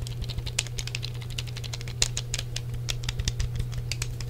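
Fingertips tap the face and grips of a hollow grey plastic Sony PlayStation controller with a cable and press its buttons, making a quick, irregular patter of light, bright plastic clicks and taps. Each click is short and dry, heard over a steady low hum.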